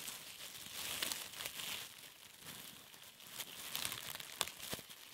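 A piece of thin, clear plastic cling film is crinkled and squeezed between the fingertips. It makes soft, bright crinkling and crackling with a few sharper snaps, mostly high in pitch with almost no low end.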